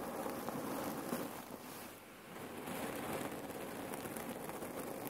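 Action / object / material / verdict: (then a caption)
scrape / cotton neck pillow filled with cherry pits / cotton, cherry pits / none. Long nails tap and scratch a folded red cotton neck warmer pillow filled with cherry pits, making a dense, steady rustling crackle as the pits shift under the fabric. The texture eases briefly around the two-second mark before picking back up.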